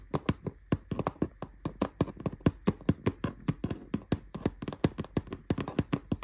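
Fingernails and fingertips tap quickly and steadily on the rattan-style woven plastic front of a large, hollow, dark grey storage drawer unit with a metal-look handle. Each tap is a short, dry click with a low hollow knock and almost no ring, repeating in an uneven rhythm.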